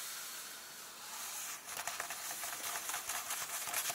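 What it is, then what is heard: Paper book pages. An open large softcover book lies at its contents page as fingertips and nails tap and slowly rub the paper and a hand sweeps across it. A steady high papery hiss fills the first second and a half. Then come irregular bright scratching taps and soft rustling strokes that continue to the end.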